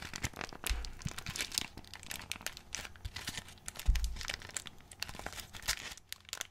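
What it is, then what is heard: Cardboard box of modelling clay being opened. A small, closed, printed cardboard box of Pelikan plastilina modelling clay, its contents hidden, is held in both hands while fingertips pry open and crinkle the glued cardboard flap. Dense, bright crinkling and tearing crackles continue throughout, with a couple of dull low thumps near the start and middle.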